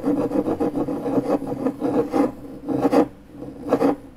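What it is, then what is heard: MDF board scraped with a key. The tip of a metal car key, held between the fingers, scratches circles on a large, flat, pale, solid MDF fiberboard panel. A dry, rasping scrape repeats in uneven strokes, centered in the midrange with little bass or high treble. The strokes come in short bursts with brief quieter gaps.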